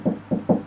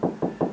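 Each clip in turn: First: hollow drywall between studs. Second: drywall over a stud, solid.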